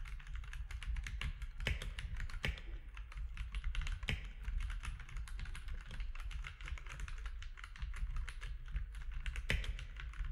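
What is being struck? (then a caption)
Mechanical keyboard with plastic keycaps. Fingertips of both hands type steadily on a compact mechanical keyboard with gray and cream plastic keycaps. The result is a rapid, continuous stream of short, bright plastic clicks and clacks that die away almost instantly, with a few louder key strikes standing out. A steady low hum runs underneath.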